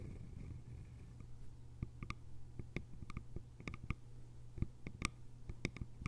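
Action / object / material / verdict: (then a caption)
tap / small hollow bamboo container with lid / bamboo / none. Long nails tap the sides of a small, cylindrical, hollow bamboo container with a lid. Quick, sharp clicks with brief bright overtones sound over a steady low hum, and each tap dies away almost at once.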